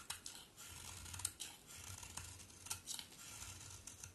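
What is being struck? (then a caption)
Bar of soap scraped with a blade. A palm-sized, solid pink-brown bar of soap with a black outer layer is held in the hand and shaved with a utility knife blade, and curls of soap pile up. About thirteen sharp, bright scraping clicks and crisp shaving strokes are heard over a quiet low hum.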